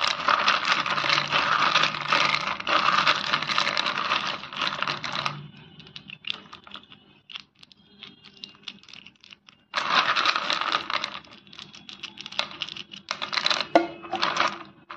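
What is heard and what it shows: Fingertips press, rub and knock many small, solid white naphthalene mothballs wet with kerosene against each other in a bowl. Dense, bright clicking and gritty scraping fills the first five seconds, thins to sparse light ticks, then returns in loud rattling bursts with short pauses.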